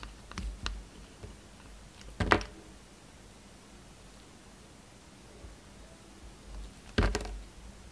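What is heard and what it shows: A utility knife blade shaves facets into a solid pale yellow soap block held in the hand. Soft, dry scraping ticks are scattered through a quiet background, with two sharper, louder cutting strokes near 2.3 and 7 seconds that crackle brightly before fading quickly.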